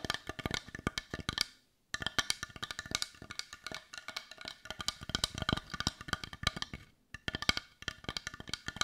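Long nails tap rapidly on the rounded back of a hollow, hand-sized, heart-shaped dark brown wooden bowl, making dense, dry, bright clicks centered around 2.2 kHz that die away almost instantly. The tapping runs in quick bursts, with brief silent pauses near 2 and 7 seconds.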